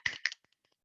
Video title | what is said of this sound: Special Objects GFSI Team Jan 2022 | There's something in there, but I don't know what it is.